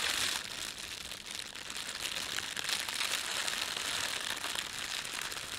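A red-and-white printed thin plastic bakery bread bag lies flat while both hands rub and press it with their fingertips. This produces a steady, dense crinkling and rustling that is bright and high-pitched, with almost no low end. The crackle continues throughout, swelling slightly at the start and again midway.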